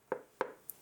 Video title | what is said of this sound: A tale of two Chinese batteries, part 1 - The Kanavano 6Ah LiFePo4 | The plastic feels a bit cheap, but it seems sturdy. There's also a little bit of a hollow feel to it when you knock it.